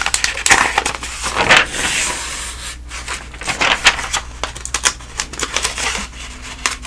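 Fingertips and nails turn and rub the thin paper ad pages of an open telephone directory. Crisp, bright rustles and sharp crinkling ticks come in quick bursts over a faint steady low hum.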